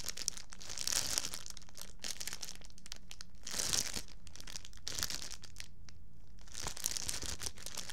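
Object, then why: Thin plastic bag. A thin, empty, clear plastic bag is held up close to the microphone and crumpled and crinkled between the fingertips of both hands. It makes a dense, bright crackling with louder crinkly bursts near 1, 3.7 and 7 seconds. A faint steady low hum sits underneath throughout.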